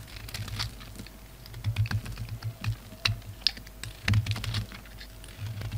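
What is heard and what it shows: A solid oval bar of soap, translucent red outside and dark grey inside, is held in the hand and scraped and shaved with a utility knife blade, leaving crumbly shavings. The sound is a steady run of dry, crisp scratches and sharp bright clicks that die away instantly, over a low, soft rumble.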